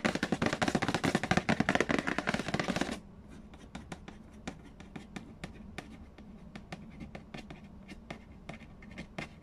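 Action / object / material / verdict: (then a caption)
tap / cardboard game box lid / cardboard / none. Fingertips and nails tap and scratch the glossy lid and edge of a large, hollow cardboard Payday board game box. For the first three seconds there is loud, dense, fast scratching and tapping with a bright texture. After that come quieter, sparser, dry taps with almost no ring.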